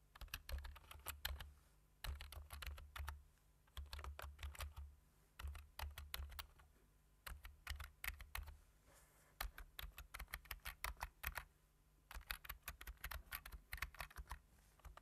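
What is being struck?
Plastic computer keyboard.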